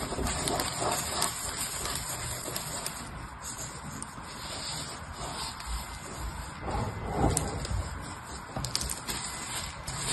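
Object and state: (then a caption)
Grated soap shavings. Fingertips with nails rub, push and pinch a loose pile of purple grated hard soap shavings on a patterned paper surface. The sound is a steady, soft crackling rustle with many small crisp clicks and bright grainy texture throughout.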